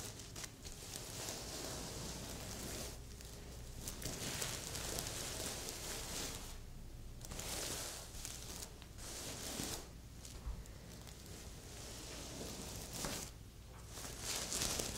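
Long nails brush and scratch across a red and silver reversible-sequin heart pillow, flipping the sequins to silver. The result is a continuous bright, crinkly rasping with soft pauses between strokes, over a steady low hum.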